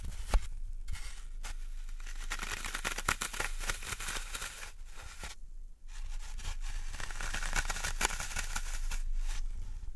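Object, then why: Floral foam block. A large solid green floral foam block is held and handled over a wooden tray while fingertips and nails press into and scratch its porous surface. Dry, crackly, crumbling scratches with bright texture run almost continuously over a steady low rumble, broken by brief quiet gaps near the middle before the scratching resumes.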